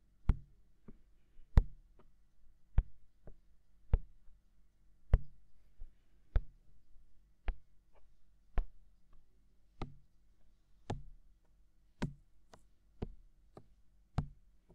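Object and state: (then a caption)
Silicone microphone ear being tapped. Fingertips tap on the white, hollow, ear-shaped silicone capsule cover of a mounted binaural microphone. The result is a slow, uneven series of soft, dull thumps, each with a sharp, bright click at its start and a low, muffled body that dies away almost at once. Quiet pauses separate the taps.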